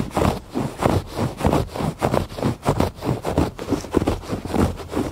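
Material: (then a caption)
Woven fabric. Fingers scratch the textured surface of a woven fabric rug in repeated, somewhat uneven strokes. Each stroke gives a dry, muffled scratching rasp weighted toward the low and middle range, with almost no bright content and no ring after each pass.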